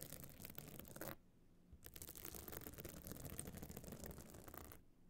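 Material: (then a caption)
Stone chips. Long nails scratch the surface of a small, hard, metal-frame clutch bag covered in glued stone chips, standing open. It makes a dense, bright, gritty rasping that stops briefly for about half a second. It then resumes steadily before fading near the end.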